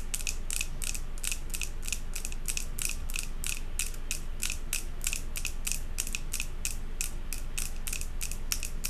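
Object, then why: Glass candle jar tapped with long fingernails. Long acrylic nails on both hands tap rapidly on the front of a large glass jar candle filled with solid white wax and topped with a metal lid. The clip is a steady stream of quick, sharp clicks, about three per second, each with a bright glassy tick and almost no ring, over a constant low hum.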